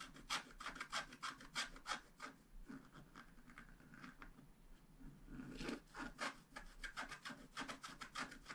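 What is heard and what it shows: A wooden stylus scratches away the black coating of a flat scratch-art card lying on a table. Bursts of dry, bright rasping strokes come in quick rhythmic runs at the start and end, with a quieter stretch of softer, steady scraping in the middle.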